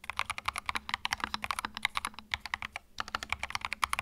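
Fingertips type continuously on a compact white mechanical keyboard with plastic keycaps, producing about 31 quick, sharp clacks with a brief pause near the three-second mark. Each keystroke is crisp and bright, centered around 1.1 kHz with little low end, and dies away almost instantly.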